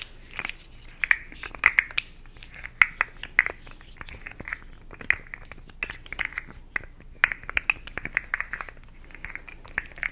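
A small, hollow, rainbow-segmented plastic articulated slug fidget toy is held in one hand near the mic and tapped and scratched with long acrylic nails. Quick, bright plastic clicks and taps stand out over a steady, thin scratching rustle. The sound is close, crisp and high-pitched throughout, with little low end.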